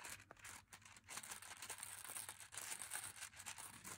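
A full plastic M&M's candy pouch is held in one hand while fingers crinkle and rub the packet. The result is a quiet, steady stream of bright, hissy crinkles and rustles with short sharper snaps, carrying almost no low end.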